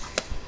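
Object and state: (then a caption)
Baked-through loaf, hollow. A finished gluten-free crusty loaf is tapped, giving a short, dry, hollow-sounding tick with almost no ring, followed by softer low thumps. The hollow sound marks the loaf as baked through; it is done when golden brown, hollow when tapped, and just over 200 degrees inside.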